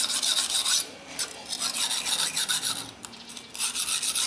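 A large steel kitchen knife blade, wet and held flat with fingertips pressing on it, is pushed back and forth across a long, solid, dark rectangular whetstone lying on a tiled floor, with a water bowl nearby. The strokes make a bright, hissy steel-on-stone scraping and rasping with almost no low end, in steady surges separated by brief quieter pauses.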